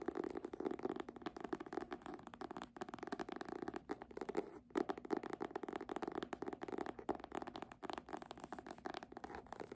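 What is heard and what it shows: Long nails and fingertips tap and scratch the front cover of a red embossed faux-leather hardcover book held upright. The result is a dense, continuous run of quick, dry clicks and scratchy rustles centered in the low mids, with almost no boom or bright hiss. There is one brief pause just before the midpoint.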